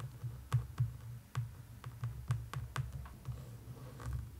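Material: Cardboard.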